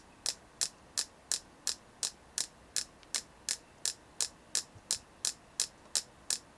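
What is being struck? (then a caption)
Carved selenite (gypsum) crystal tapped with fingernails. A hand-sized solid white carved selenite (gypsum) piece, held in both hands, is tapped and scratched with long painted nails. Eighteen crisp, bright, very short clicks sound in a steady rhythm of about three per second. A faint low hum runs underneath.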